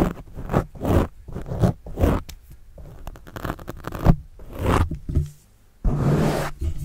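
A pen scratches across a black foam windscreen on a microphone, then a fingertip scratches it. The result is close, muffled, low-heavy rasping strokes, like a zipper, in quick bursts. After a brief near-silent pause, a longer, steadier scrape follows.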